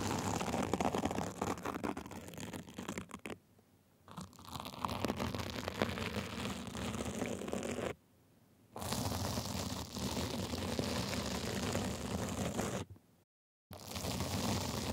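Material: Sequins.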